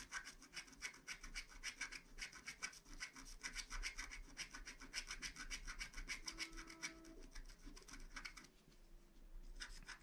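A wooden stylus scratches across a flat, black wax-coated paper scratch art card, filling in a crescent moon to reveal gold foil. Fast, steady back-and-forth strokes give a dry, bright rasping texture over a faint low hum. The strokes ease off briefly near the end, then resume.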